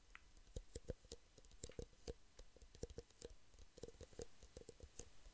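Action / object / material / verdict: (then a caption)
tap / thin clear plastic drinking cups / plastic / none. Two identical small, hollow, empty clear plastic drinking cups are held one in each hand close to the microphone while fingertips and nails tap rapidly on their sides. The result is a quick, irregular stream of short, dry clicks and taps with a hollow plastic resonance around 500 Hz and bright, crisp tips, each dying away almost instantly.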